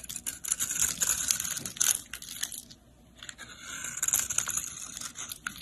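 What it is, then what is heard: Soap bar being shaved. A snap-off utility blade shaves and scrapes crumbly flakes from a solid pink soap bar held in hand. The result is a dense, bright, crackling scrape full of fine crunchy ticks, with almost no low end. There is a brief near-silent pause around the middle before the shaving resumes.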